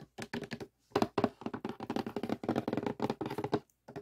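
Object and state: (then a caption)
Cardboard puzzle box tapped. Fingertips and nails tap quickly on the printed lid of a closed rectangular cardboard jigsaw puzzle box (The Kiss) that rests on a table, hollow and filled with pieces. The result is a dense run of short, dry, hollow taps with a low-mid knock around 220 Hz and almost no ring. The tapping comes in clustered bursts separated by brief pauses.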